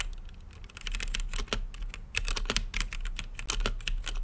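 Fingertips type on an RGB-lit mechanical keyboard with plastic keycaps and a clear acrylic case. A quick, uneven run of sharp, bright key clicks plays over a steady low hum, with short dry decays and brief pauses between bursts.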